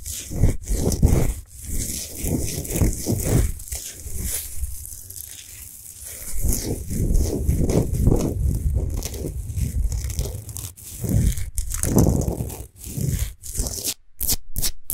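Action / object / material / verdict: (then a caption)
scrape / salt crystal sphere lamp / rock salt / none. A large solid pink Himalayan salt sphere lamp, switched off and sitting on a small gold base, is scratched rapidly with long acrylic nails on both hands. The result is a continuous, dense scratching and rustling texture with a deep low rumble, broken by brief pauses near the end.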